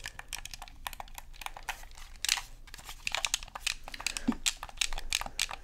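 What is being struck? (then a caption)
Plastic game controller. Fingers tap and scratch the hollow plastic shell of a black Xbox controller and press its buttons, making a quick run of dry, bright clicks and scrapes. The short crisp taps come in an uneven, close-spaced stream with little ring, over a faint low background hum.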